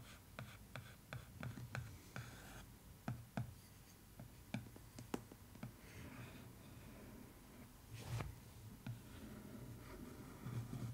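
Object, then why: Paper-covered cardboard case lid. A wooden stick traces the Big Ben and Eiffel Tower drawings on the floral paper cover of a cardboard case lid. Quiet, dry scratching and rubbing is broken by short, sharp ticks and taps as the stick moves along the lines. The sound stays soft and close, with a dull low body and brief bright clicks.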